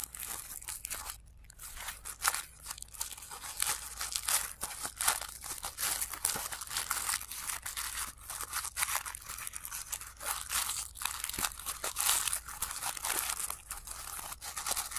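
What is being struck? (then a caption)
Tissue paper flower. Fingertips crinkle and pinch the thin sheets of a layered blue tissue paper flower, with the sound played in reverse. Dense, bright, papery crackles and crunches come in quick, uneven bursts throughout, each one cutting off sharply rather than trailing away. There is almost no low end beneath the steady rustling.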